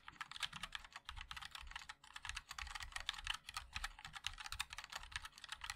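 Fingertips of both hands type continuously on a compact 60% MOD-L mechanical keyboard with a black case, linear switches and white and black plastic keycaps. It makes a rapid, steady stream of short, bright plastic clacks with a soft low thud under each keystroke, and a few brief pauses.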